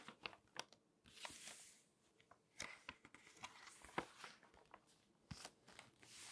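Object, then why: Glossy paper magazine pages. A hand with long nails strokes the pages of an open glossy paper magazine and turns them. Bright, crinkly rustles and swishes mix with sharp nail clicks and ticks, each sound dying away almost at once.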